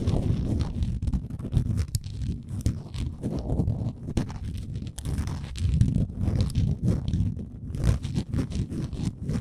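Long nails scratch the stepped wooden edges of a small, solid, printed wooden Canada souvenir ornament. The sound is a steady, close, low-heavy scratching and crunching, broken by many short, sharp clicks that fade almost at once.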